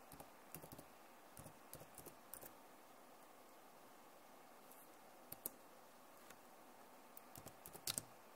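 Long nails tap and type on the keys of a backlit plastic laptop keyboard. Quiet, short, bright clicks come in small clusters over a low steady hiss, with a long gap in the middle and a sharper burst near the end.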